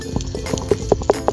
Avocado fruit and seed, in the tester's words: kalau misalnya kita kocok, ini pasti akan bunyi karena apa? Ini besar. Dan juga untuk biji yang ada di dalam sini, itu tidak lagi menempel ke daging buah